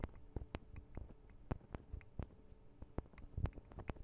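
Long acrylic nail tips tap rapidly on the tops of a Tascam DR-40 recorder's two small hollow microphone capsules with metal and plastic housings. The result is a quiet, uneven patter of short, dry clicks with heavy low thumps and brief bright edges that die away almost instantly, over a faint low hum.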